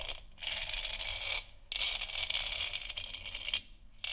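Long nails scratch and tap across a large, hollow, textured plastic moon lamp sphere. The result is bright, dry, rasping scratches in three sustained bursts separated by brief quiet gaps, with little low end and almost no ring.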